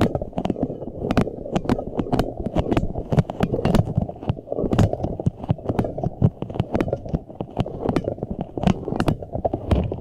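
A large, green, soft rubber puffer ball, hollow and air-filled and covered in flexible spikes, is held in both hands and squeezed and rubbed with the fingertips close to the face. A continuous low, dense rubbery rubbing and squishing fills the clip, broken by rapid, sharp, crackly clicks that flash up into bright highs and die away almost instantly.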